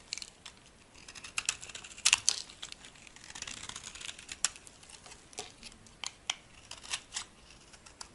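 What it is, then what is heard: Dry soap bar being carved. A solid, dry white bar of soap is held in the hand and scraped and carved with a metal blade into flakes. Quiet, bright, crisp scratching and cutting sounds come in a steady series of short dry scrapes and clicks, with a few louder snaps.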